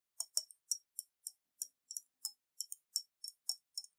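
Long nails tap the side of a round, clear glass bottle about half full of water with a silver metal cap, held in the hands and tilted so the water sloshes. A quick, evenly spaced series of bright, high clicks and clinks follows, each dying away almost at once, with a faint watery ring under some taps.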